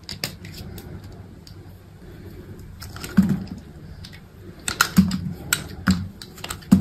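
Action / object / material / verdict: scrape / bar of soap / soap / none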